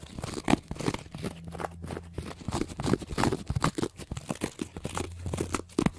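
Fingernails scratch a small, pale green block of porous cellulose sponge and bend it slightly, making rapid, dry, crunchy scratching bursts with a crinkling, tearing texture. A steady low hum runs underneath the whole time.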